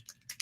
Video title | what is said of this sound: LIVE How To: Airbrush + Bronze Look | I want to shake it until I hear that BB moving freely I can tell it's still a little stuck